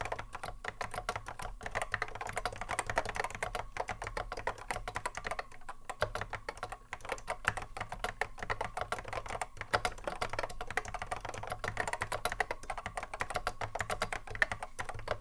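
A cream Apple M0110A keyboard, a hollow plastic case with Alps SKCC mechanical switches sitting on a wooden desk, is touch-typed continuously with the fingertips of both hands. Dense, rapid, sharp clicky keystrokes overlap with no pauses, each one short and crisp with a hollow plastic clack in the mids and a faint low hum underneath.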